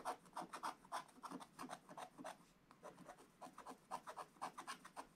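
A wooden stylus scratches the presents area of a black-coated scratch-art book page. It makes a quick, uneven series of short, dry rasping strokes, about three to four per second, centered in the midrange with a faint high hiss. Each stroke is quiet and stops dead with no ring, and there is a brief lull near the middle.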